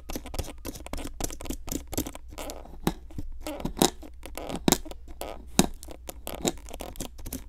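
A metal pick tool scratches and scrapes a solid pink plaster dig block with small embedded fossil pieces, sitting in a clear plastic tray and held down by a hand with long nails. Quick, irregular gritty scrapes and sharp clicks come in rapid bursts over a steady low hum.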